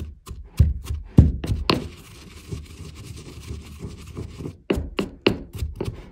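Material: Marble.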